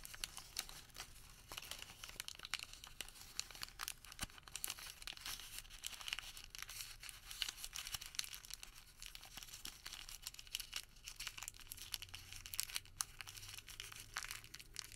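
A thermal paper receipt, folded and rolled small, is pressed and crinkled between fingertips. Quiet, dense, bright crackles and crisp tearing-like rustles run continuously for the whole stretch, with very little low end.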